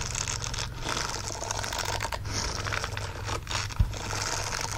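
A green silicone bristle glove lies flat while the fingertips and nails of both hands quickly scratch its bristled fingers. The result is a dense, continuous bright scratching and rasping over a steady low hum, with one brief louder bump near the end.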